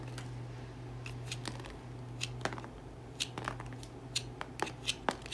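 A solid cream Dettol bar soap, held in the hand, is scraped repeatedly across its surface with a serrated metal comb tool on a wooden handle. Short, bright, crackly scratching strokes come in an uneven rhythm over a steady low hum, with the strokes growing sharper and louder toward the end.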